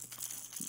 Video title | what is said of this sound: Lure Review- Strike King KVD Sexy Dawg | you can hear the BB's in the head so it's got a true rattling system